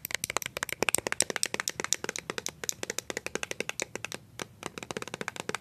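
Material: Plastic.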